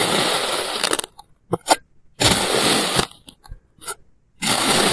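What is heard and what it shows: A clear plastic knife slices a small, solid block of blue kinetic sand into thin layers, cutting and scraping. Three long, bright, gritty scraping passes are heard, separated by short soft crunches and ticks as the layers come away.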